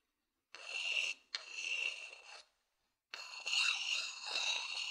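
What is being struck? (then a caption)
Wooden bowl underside rubbed with a thin wooden stick. A thin wooden stick scratches and rubs across the outer underside of a medium hollow wooden bowl in three separate strokes with short silent gaps between them. The scraping is dry and bright, with a steady tone near 2.7 kHz and no low end.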